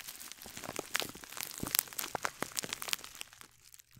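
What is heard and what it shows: A small gold glittery scouring sponge sealed in a clear plastic bag is held in one hand near the mic while long dark-painted nails on the other hand scratch and crinkle the plastic. The result is a dense run of quiet, bright, sharp crackles and crinkles with almost no low end, fading toward the end.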